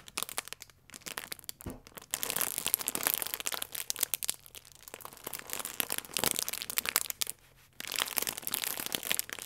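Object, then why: Plastic film croissant wrapper. A full plastic film croissant pack, held in both hands, is gently squeezed and crinkled with the fingertips. It makes dense, bright, crackly crinkling that comes in bursts with brief quiet pauses, almost entirely high in pitch with very little low end.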